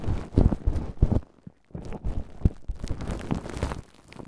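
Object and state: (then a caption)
Plastic cling film crumpled and scratched over a microphone. A large ball of wrinkled clear cling film wrapped over a Tascam microphone is gripped by hands, with fingertips and nails scratching and rubbing the plastic. This produces close, heavy crinkling and muffled thumping dominated by deep low-end rumble, with sharper bursts near the start and a brief near-silent pause before the rubbing resumes.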